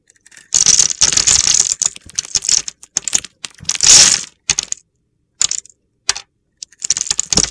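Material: Soap.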